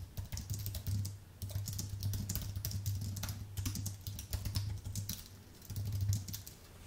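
Fingertips type steadily on a white Apple full-size keyboard with an aluminium base and plastic keys, then the hands come to rest below the keyboard. Quick, soft, bright key clicks patter over a steady low hum throughout the clip.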